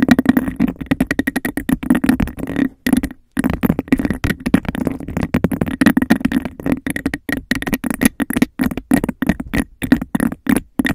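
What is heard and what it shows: Fingernails rapidly scratch and tap a clear textured glass cup held over a microphone, giving a hollow, resonant sound centered around 240 Hz. The dense, fast strokes run almost continuously, with brief pauses near the three-second mark.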